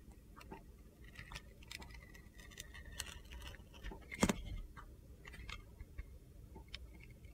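A utility knife scrapes thin white layers off the edge of a handheld solid red glitter soap bar with gold stars. Soft, crisp scratches and bright little ticks patter irregularly over a faint low rumble, with one louder gritty crackle partway through.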